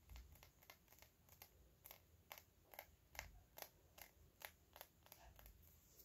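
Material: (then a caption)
Glass. Fingernails tap and lightly scratch the body of a small, hollow, clear faceted glass perfume bottle held upright. About 17 quiet, bright clicks land at an uneven, unhurried pace, each dying away almost at once, over a faint low rumble and a soft scratchy hiss.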